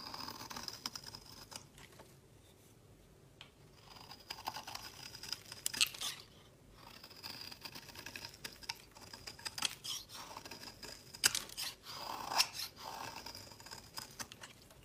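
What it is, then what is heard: Bar soap being scraped. The bottom edge of a solid orange bar of soap is scraped repeatedly with a metal blade, curling shavings off onto a woven mat. Quiet, dry, bright scraping rasps and crisp little ticks come in short bursts separated by near-silent pauses, with almost no low end.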